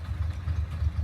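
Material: Nothing is struck.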